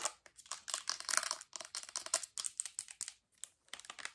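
Long acrylic nails tap quickly and hard on the gold cap top and white plastic body of a full-looking Bath & Body Works lotion bottle. The result is a rapid, uneven run of bright, clicky taps with a dry, scratchy texture, mostly high-pitched with almost no low end. Each tap dies away almost instantly, with brief pauses between bursts.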